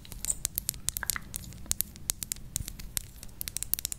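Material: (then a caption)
Metal. Long pink acrylic nails tap and scratch a small capped rose-gold metallic lipstick tube, a hollow cylinder with a studded, dotted pattern, held close to the microphone. About thirty quick, sharp clicks land in an irregular run over soft scratching. Each one is bright and crisp and dies away almost instantly.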